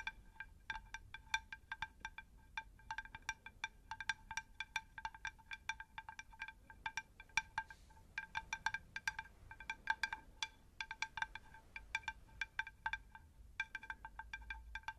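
A shallow, round, unglazed terracotta plant saucer is tapped rapidly with long pink nails, giving a steady stream of light, clicky taps. Each tap carries a bright, bell-like ping that dies away almost at once. The tapping runs throughout the clip with only brief gaps.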